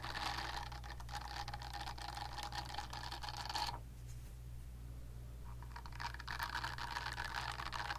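Long nails tap and scratch the smooth back of a pink silicone facial cleansing brush held upright, making dense, rapid, bright clicking and scraping. The scratching stops for under two seconds, leaving only a steady low hum, then starts again and runs to the end.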